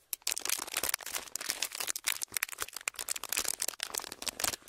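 Clear ridged plastic packaging, curled in both hands, is squeezed and crinkled with the fingers. It makes a dense run of sharp, bright crackles and crisp pops with almost no low end. The bursts overlap in quick, uneven waves for the whole clip.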